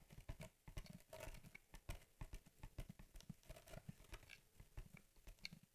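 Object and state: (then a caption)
Cardboard shipping box. Long, dark-painted nails tap rapidly on the flat top of a hollow USPS Priority Mail cardboard box held in both hands. The taps are short, dry knocks with a low, boxy thump, coming in quick uneven bursts that barely ring.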